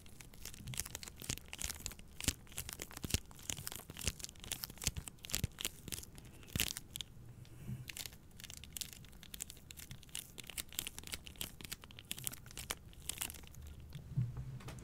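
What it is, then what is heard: Plastic-wrapped pack of paper towel rolls scratched. Long nails scratch the plastic film wrapped around a pack of paper towel rolls held upright. The result is dense, bright crinkling and scratchy rasps in quick, uneven bursts over a soft low rumble, with a few sharper crackles standing out.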